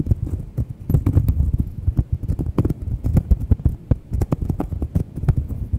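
A round, thin, flat solid cork coaster, held in one hand close to the microphone, is scratched and tapped with long white-painted nails. Dull, low, muffled taps fall in a quick, uneven stream over soft scratching, each one dying away almost at once.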